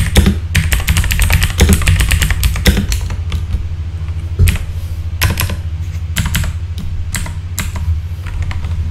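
Fingertips type on a full-size backlit mechanical keyboard with plastic keycaps, producing quick bursts of bright, sharp clicks and clacks that die away almost instantly. The keystrokes come in irregular runs with brief pauses, over a steady low hum that stays underneath throughout.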